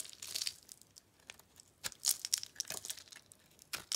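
A metal blade scrapes and cuts dry, crunchy flakes off a solid cream-colored bar of dry soap held in the hands. The sound is a run of quiet, irregular crisp scrapes and crackly crunches, almost entirely high and bright, with short sharp bursts and no lingering ring.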